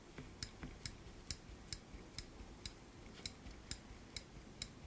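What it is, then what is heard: Steel binder clip. A small black steel binder clip with silver wire handles, held in a gloved hand, has its handles moved and clicked with the fingertips. Eleven short, sharp metallic ticks sound at a steady pace against a low, quiet background hiss. Each click is bright and dies away almost instantly.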